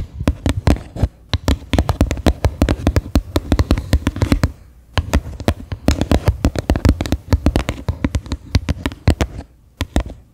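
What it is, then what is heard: Plastic bowl tapped. Fingertips and long nails tap rapidly on the base and rim of a medium white faceted bowl, likely plastic, set upside down and hollow. Dozens of quick, dull, hollow taps with a deep, low-heavy body and almost no ring come in uneven bursts, with brief pauses near 1, 5 and 10 seconds.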